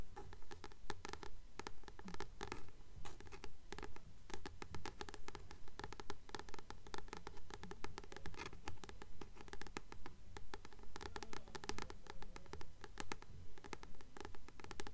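Long nails tap and scratch the glossy card cover of a Practical Magic paperback, a solid paper book held in both hands. Quick, dry taps and scratches come in a steady, closely spaced run over a low background hum.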